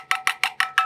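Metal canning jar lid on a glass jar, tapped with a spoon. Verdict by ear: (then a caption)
Unsealed. A spoon taps five times on the metal canning lid of an empty jar, giving hollow, bright clinks with a short ring around 1.3 kHz. The lid is unsealed with no vacuum, so it sounds hollow, unlike the tight taps of a sealed jam jar.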